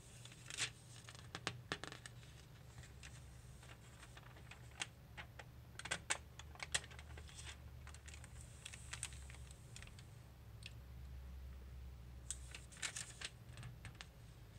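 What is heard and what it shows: Fingertips, one hand wearing a ring, tap, rub and turn the thin glossy pages of a paper magazine or catalog lying open and flat on a polished wooden desk. Quick, bright crinkling taps and papery rustles come in scattered bursts over a quiet, steady low hum.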